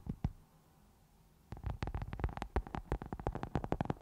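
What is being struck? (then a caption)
Foam microphone windscreen. A round black foam microphone windscreen is scratched and rubbed with the long nails of both hands. Two soft scratches come first, then a short quiet pause. After that, a dense run of quick, uneven scratching bursts follows, low and muffled, with brief rustling attacks that die away almost at once.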